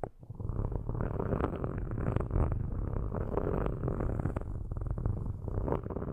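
Metal sticks are lifted and scratched across the metal grilles of two microphones, producing a continuous low, rumbling scrape with a purr-like texture. It is punctuated by dense, quick scratching strokes and stays heavy in the low end throughout.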